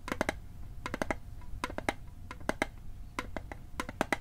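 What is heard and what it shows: Fingertips and nails tap fast on the lid and sides of a small, hollow, rectangular metal mint tin of the Altoids type with a blue and white label, held in one hand near the microphone. About twenty sharp, dry clicks come in quick bursts of three or four, each with a faint hollow tone around 630 Hz and a bright edge that dies away almost at once.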